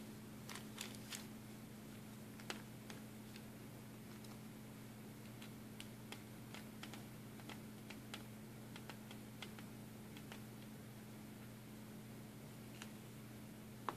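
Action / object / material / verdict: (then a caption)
shake / hard plastic lidded box with plastic buttons inside / plastic / none. A small, hollow, clear hard-plastic lidded box partly filled with loose plastic buttons is held in both hands and handled and shaken with the fingertips so the buttons rattle inside. Sparse, quiet, sharp plastic clicks and ticks scatter across the clip, each dying away almost instantly, over a steady low hum.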